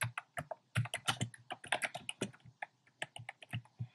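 Fingertips type on a compact plastic mechanical keyboard with a black plastic case and round pastel plastic keycaps. Quick, irregular keystrokes each give a short, sharp click with a bright top and a low thump beneath, dying away almost at once.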